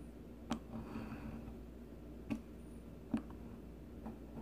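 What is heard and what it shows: A solid, palm-sized pink bar of soap is shaved repeatedly with the metal blade of a blue plastic peeler. Three short, dry scraping clicks stand out at uneven intervals, with fainter scrapes between them, over a quiet low background hum. Each stroke dies away almost instantly.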